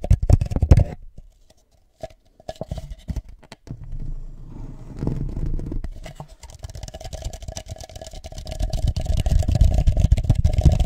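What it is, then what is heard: Plastic party cup. A hollow red plastic party cup is held over a microphone, tapped on its sides with the fingertips and briefly tilted. Dense, deep, muffled thumps and soft scraping fill the clip, with a brief near-silent pause early on before the tapping builds again and grows louder toward the end.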